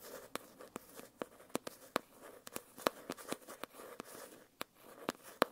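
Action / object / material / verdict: tap / foil-covered hardcover notebook / foil cardboard / none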